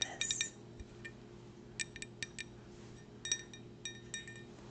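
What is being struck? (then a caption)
Glass cup. A glass souvenir cup from the Ladies and Tangents show, which came with a drink, is tapped about thirteen times in quick irregular groups. Each tap gives a clear, bright glassy clink with a very short ring, over a faint, steady low hum.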